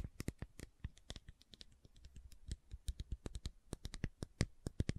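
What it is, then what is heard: Plastic bottle tapped with nails. Long nails tap and scratch the label and body of a hollow, medium-sized white plastic fish oil supplement bottle held in the hands. The result is a quick, uneven run of short, dry clicks and taps with soft scratchy texture between them. Each tap stops almost at once, with a low thump and a bright tick on top.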